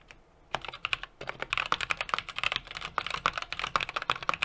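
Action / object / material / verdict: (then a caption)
tap / mechanical keyboard with aluminum case and plastic keycaps / plastic, aluminum / none. A small 60% mechanical keyboard with an aluminum case, brass plate and plastic keycaps is typed on continuously with fingertips. After about half a second of near silence, a steady run of sharp, bright clacks begins, each one short and dry with almost no low end.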